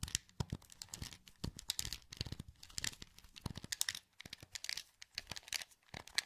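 Thumbs click the buttons of a hollow, translucent green plastic PS2 wireless controller held in both hands. Rapid, irregular bursts of short, dry, bright clicks and light tapping come with brief pauses between them. Each click dies away almost instantly, with a faint low thump beneath the sharp high clatter.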